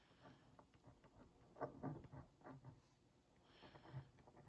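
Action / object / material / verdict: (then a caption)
scrape / cardboard box scratched with a wooden stick tip / cardboard / none. The wooden tip of a skewer is traced over the printed text of a hollow Oreo Mini cardboard box held in one hand. Soft, quiet scratching strokes come in a series of short, dry, papery rasps with a slightly hollow low body and no ring.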